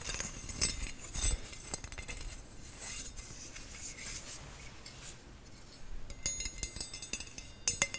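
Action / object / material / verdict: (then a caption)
tap / perforated stainless steel skimmer spoon / stainless steel / none. Long nails tap and scratch across the holes of a perforated stainless steel skimmer spoon with a thin round bowl. Quick bright metallic clicks and scraping rasps come in clusters, with a busy stretch at the start and another near the end. The taps barely ring before dying away.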